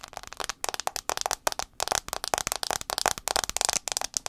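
Fingernails tap fast on the front glass screen of an iPhone 6s, making rapid bursts of dry, sharp clicks with short gaps between them. The taps are bright and crisp, with almost no low end and no ringing after each click.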